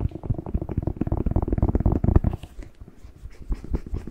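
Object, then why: Whole fresh bell pepper. Fingertips tap and rub the glossy skin of a whole, fresh, hand-sized hollow red bell pepper held close to the mic. Rapid, dull, low thumps come in a dense run, then fade into quieter soft rubbing before a few more taps return near the end.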